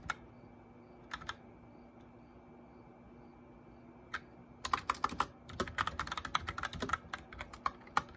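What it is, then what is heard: Plastic mechanical keyboard. Both hands type on a white plastic mechanical keyboard, fingertips tapping the keycaps. A few scattered clicks come in the first four seconds, then a fast, uneven run of sharp, clacky taps fills the second half over a faint steady hum.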